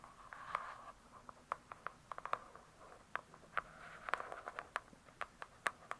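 Long pointed acrylic nails on both hands tap and scratch the glossy paper-covered cardboard front cover of a large hardcover "True Crime" book lying flat, solid with pages inside. About twenty quiet, crisp clicks stand out with almost no ring, separated by soft scratchy swishes. The sound is centered in the midrange with a bright edge and almost no low end.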